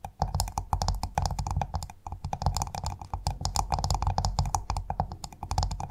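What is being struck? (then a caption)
Clam shell. A pearl-bearing clam's hard shell is tapped rapidly with fingers or nails. The result is a dense stream of short, dry clicks, each with a low, thumping body and a faint bright tick, dying away almost instantly.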